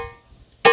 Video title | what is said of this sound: जिला गौरेला पेंड्रा मरवाही में निगवा पाठ बाबा में है टिनटिन पत्थर। पत्थरों से आती है घंटी की आवाज। | पत्थर से ठोकने पर घंटी जैसी आवाज आती है